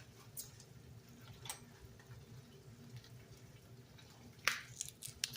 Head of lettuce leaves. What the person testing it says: You hear how crispy this lettuce is?